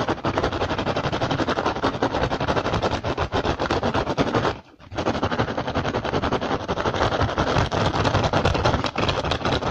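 One hand rapidly scratches and taps the weave of an upturned, hollow, empty woven rattan basket with nails and fingertips. The result is a dense, continuous stream of fast, crackly scratches and taps with a low, hollow body. It stops briefly just before the halfway point, then resumes at the same intensity.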